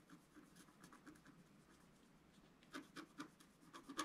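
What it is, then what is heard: Scratch art paper being scratched. A wooden stylus scratches fill patterns near the bottom edge of a flat black coated scratch art paper sheet lying on a table. Quiet, dry, papery scratching strokes with a bright, hissy edge and little low end, soft and steady at first. They give way to a few sharper, louder scrapes toward the end.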